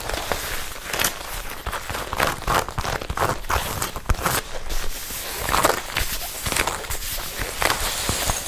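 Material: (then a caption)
Leather. Long red nails tap and scratch the held-out sleeve of a worn red leather jacket. Quick, dry taps mix with scraping and crinkling of the leather, in steady bursts with short gaps.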